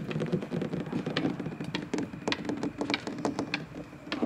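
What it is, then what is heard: Plastic playground slide. Fingertips with short white-painted nails tap and scratch along the large, glossy, red molded-plastic surface of a hollow playground slide. A busy stream of quick, bright clicks rides over a hollow, boxy resonance around 280 Hz with a scratchy rustle beneath. Each tap dies away almost at once.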